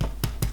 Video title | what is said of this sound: Cheese, Onion and Tomato Bread | it sounds hollow in the middle